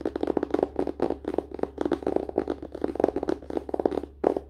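Fingertips and short nails of both hands tap quickly on the glossy cardboard front cover of a closed paper-and-cardboard hardcover book resting on a lap. The result is a dense run of dry, hollow taps with a mid-range knock around 400 Hz and almost no ring.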